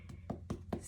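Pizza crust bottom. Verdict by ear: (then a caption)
Hollow. The bottom of a cooled homemade pizza, a little golden brown, is tapped four times and gives short, dull, hollow knocks. The hollow sound shows the pizza is baked through.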